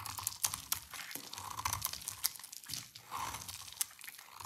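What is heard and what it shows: A rectangular solid bar of dry purple soap, held in the hands, is scraped and shaved with a utility knife blade. Quick, dry, crisp scraping and crunching sounds come in bright bursts with sharp clicks. Soft shavings come off the bar.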